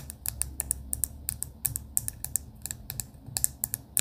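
Long pink acrylic nails tap rapidly on a clear plastic pen barrel with pastel beads inside. Around twenty crisp, bright clicks arrive in an irregular run, each dying away instantly. A soft low hum sits underneath throughout.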